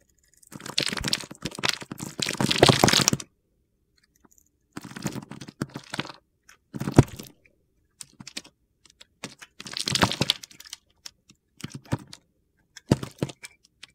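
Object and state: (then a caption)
Bar soap being carved. A solid green bar of soap held in the hand is scored and carved with a utility knife blade, sending crunchy slivers and curls off the bar. Dense, gritty crackling scrapes come in bursts separated by short silences, starting with a long stretch of steady carving followed by shorter cuts. The sound is broadband and bright, with sharp, quickly fading crunches.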